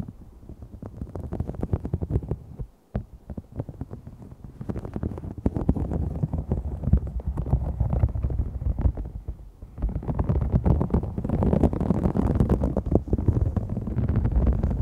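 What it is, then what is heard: Faux snakeskin vinyl sheet. Fingernails of both hands scratch and pinch a large, thin, flexible green-gold holographic sheet of iridescent faux snakeskin vinyl with a raised scale texture, lying flat. The result is a dense, muffled stream of rapid scratchy crackles with heavy low-end rumble and little brightness. It drops to near silence briefly around the three-second mark, then builds louder and busier toward the end.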